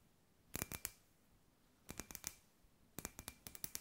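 A palm-sized hollow clear glass sphere with fairy lights inside, held in both hands, is tapped and scratched with long white nails. Three quick bursts of sharp, bright clicking taps (fifteen in all) sound against a quiet background, each tap carrying a faint glassy ring that fades almost at once.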